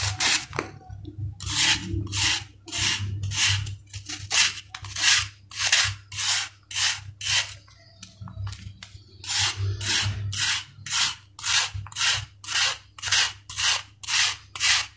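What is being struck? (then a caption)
Sand-cement ball scraped with a steel blade. A steel knife blade shaves a solid, dried sand-cement ball in repeated scraping strokes. Each stroke is a short, bright, gritty rasp that stops quickly, at an uneven pace of roughly two per second, over a faint low hum.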